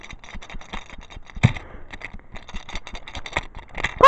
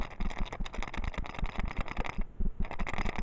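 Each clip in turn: First: toy engine with plastic bogies. Second: wooden toy engine with wooden bogies rattling.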